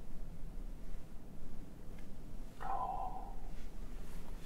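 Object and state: Nothing is struck.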